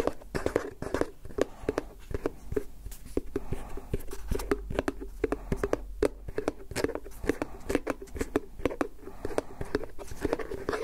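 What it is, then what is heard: Plastic tub lid scratched and tapped. Fingertips and nails scratch and tap the snap-on lid of a medium-size, round, hollow white plastic food tub. Dozens of quick, dry taps land over a steady scratching rustle. Each tap gives a short hollow knock with a mid-pitched tone that dies away almost at once.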